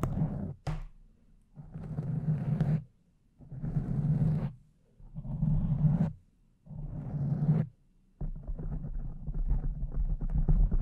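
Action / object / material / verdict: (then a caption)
scrape / foam microphone windscreen scratched and tapped with long nails / foam / none. Long acrylic nails scratch and tap over a soft, porous pink foam windscreen on a microphone. The result is deep, muffled, rumbling scratching that comes in bursts separated by short silences. From about eight seconds on, it turns into a steady, continuous rustle.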